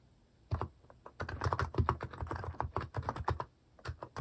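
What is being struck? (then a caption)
Plastic mechanical keyboard. Fingertips type on a cream Hanmumu plastic mechanical keyboard fitted with plastic cat and paw keycaps. Quick, dry keystrokes with a deep, low body and short bright clicks run from about half a second in, pause briefly near 3.5 seconds, then resume for a few final strokes.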